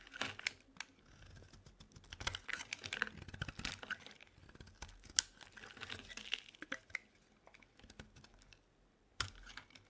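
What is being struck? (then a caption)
Bar soap scraped with a metal blade. A metal utility knife blade scrapes curls off a solid, hand-sized pale lilac bar of soap held in the hand. The result is a dense run of dry, crisp, crackling scrapes and quick bright clicks. There is a brief lull near the end before one last sharp scrape.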